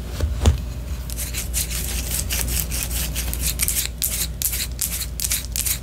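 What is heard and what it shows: Long orange nails scratch a white solid wax pillar candle that is held upright and then turned sideways. A rapid series of bright, raspy scratching strokes plays over a steady low hum, with a sharper tap near the start.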